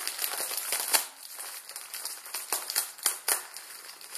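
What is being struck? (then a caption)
Plastic film noodle packet. A Maruchan instant ramen packet, plastic film around a dry noodle block, is twisted and crinkled with both hands and fingertips. It makes a dense, bright crinkling with sharp crackles and no low end. Louder crisp snaps stand out now and then above the steady rustle.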